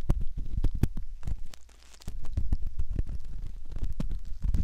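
A thin, curved metal ear pick scratches around the canal opening of a soft silicone ear, likely the ear of a binaural microphone. Dense, close, low crackling and scraping thuds come in rapid bursts, with a brief quieter pause near the middle.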